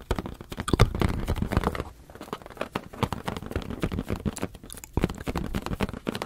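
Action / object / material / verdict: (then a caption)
tap / air-filled latex balloon / latex / none. A medium teal latex balloon, hollow and air-filled, is held in both hands and rapidly tapped with the fingertips. The result is a dense run of short, dull, low-pitched thumps with almost no ring, broken by a brief pause near the two-second mark.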